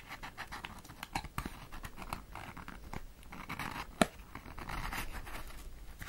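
Long acrylic nails scratch and tap on a small, closed, rectangular cardboard cigarette box, making a steady run of dry, papery scratching with soft, quick taps. One sharper, louder tap stands out near the middle of the clip.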